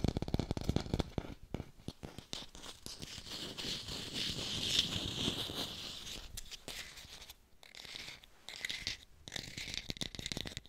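Fast tapping on an artificial pear, recorded in hi-fi, produces a quick, irregular stream of dry, short taps. Scratchy, crinkling scrapes are mixed in, and a softer, more continuous rustle fills the middle of the clip.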